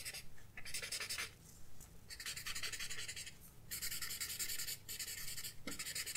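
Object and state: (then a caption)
Paper sketchbook page being rubbed. A paper blending stump rubs in short strokes over the graphite on a flat sketchbook page. Bright, dry, scratchy bursts of rubbing come in stretches separated by brief quieter pauses, over a faint low background hum.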